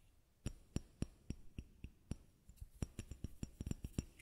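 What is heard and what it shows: A small white bottle is tapped with eighteen short, dry taps. Each tap has a low thud and a bright, clicky top that dies away almost instantly with no ring. The taps come evenly spaced at first, then quicker and more irregular toward the end, with no voice.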